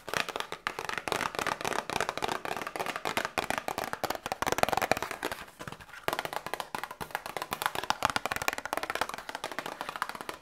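A small printed cardboard medicine box is tapped rapidly with long nails and fingertips, giving a dense stream of dry, hollow clicks with almost no ring and very little low end. The tapping runs steadily, dips briefly just before the six-second mark, then picks up again at a similar pace.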